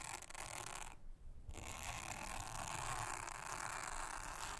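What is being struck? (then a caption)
Silicone honeycomb trivet mat. A soft toothbrush brushes across a thin, solid, round blue silicone honeycomb trivet mat. It makes a steady, bright, scratchy rasp with a faint low rumble underneath. The sound pauses briefly near the one-second mark and then continues evenly to the end.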